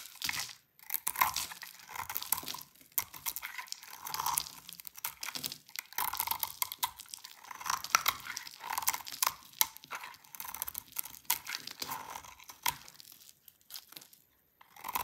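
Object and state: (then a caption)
Dry soap bar. A hand-sized, solid salmon-pink bar of dry soap is held in the hands and carved with a utility knife blade, scraping off curled shavings. Dense, crisp crunching and scraping comes in repeated bursts with short pauses between strokes. The sound is dry and bright, with almost no low end.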